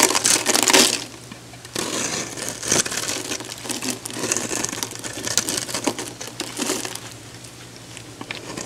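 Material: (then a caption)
Soap. A metal box-cutter blade cuts and scratches a solid, hand-sized orange oval bar of soap held in the hand, breaking away flakes and chunks. The result is a dense run of crisp, bright crunching and scraping with little low end, loudest at the start, quieter for a moment, then swelling again in rough bursts.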